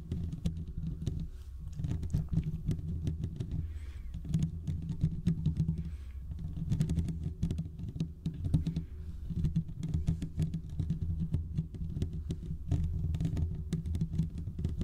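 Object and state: Metal microphone mesh grille.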